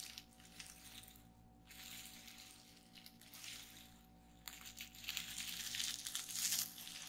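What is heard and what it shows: Long nails and fingertips press and pop the bubbles on a flat sheet of clear plastic bubble wrap lying on a wooden table. The sound is quiet, bright crinkling and crackling, with soft scattered pops. It grows denser and louder toward the end.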